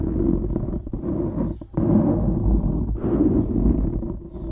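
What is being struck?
Foam microphone windscreen.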